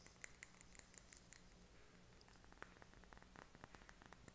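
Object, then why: Glass candle jar filled with wax. Short fingernails tap on the sides and labelled base of a small clear glass candle jar filled with green wax. The taps are quiet, sharp, and clicky, with a brief bright ring near 2 kHz, some spaced apart and others clustered into quick runs. A low steady hum sits underneath.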